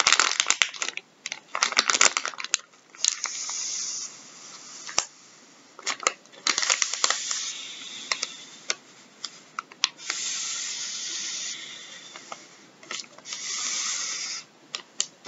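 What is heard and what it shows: Gloved fingertips scratch and rub a full, soft plastic packet of wet wipes resting on a wooden table. The result is bright, crinkly plastic rustles and sharp ticks, with longer stretches of steady rubbing hiss toward the end.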